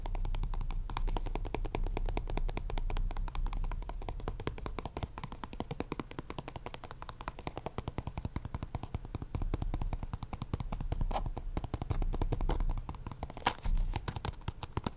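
A small, hollow, purple printed cardboard deck box is held in one hand and tapped and scratched with the fingertips and short nails of the other. The result is a fast, uneven stream of dry, short taps with a soft, low hollow thump beneath them and scratchy clicks over the top.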